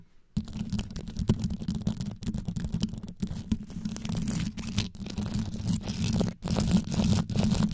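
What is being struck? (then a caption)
Rhinestone-studded microphone grille. Long yellow nail tips rapidly scratch the top and sides of a black condenser microphone's rhinestone-studded grille. After a brief silence, a dense, deep, crackly rasp begins, with a heavy low rumble and fine gritty detail above it. The scratching continues almost nonstop, broken only by a few short pauses.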